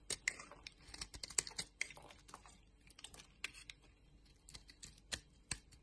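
A box-cutter blade shaves thin flakes off a palm-sized orange bar of solid soap held in a hand with long nails. A quiet, rapid series of crisp, bright scraping clicks is heard, each cut sharp and dry with almost no ring.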